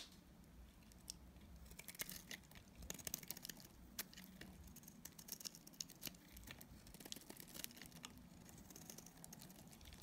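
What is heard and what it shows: A utility knife blade cuts into a solid, dried, pink striped Dalan soap bar held in the hand, scraping off shavings. Quiet, dense, crisp scraping and crinkly crackling are punctuated by many sharp, bright clicks over a faint low rumble.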